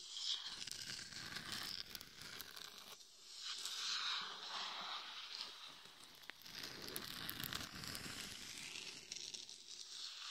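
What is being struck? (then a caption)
Glitter-coated plastic mannequin head. Long nails scratch the forehead, top and sides of a hollow, glitter-covered mannequin head microphone. The result is a bright, gritty, crackling rasp that rises and fades in uneven waves of scratching, with almost no low end.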